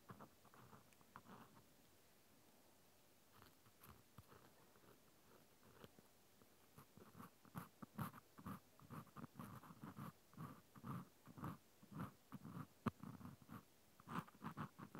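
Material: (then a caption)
Plastic. A small white plastic clothespin with a metal spring is held in the fingers while a cotton swab scratches along its grooves. Soft, dry scratching strokes are sparse and quiet at first, then become denser and louder after about seven seconds. The strokes come in an uneven rhythm, each short with no ring.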